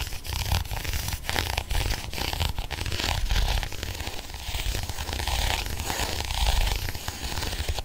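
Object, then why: Textured faux leather planner cover scratched with a pen. A ballpoint pen scratches and taps across the small pink croc-textured faux leather cover of a pocket planner. The result is a steady stream of dry, crackly scratching broken by sharp ticks, over a low, close rumble.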